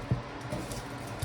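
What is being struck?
Nothing is struck.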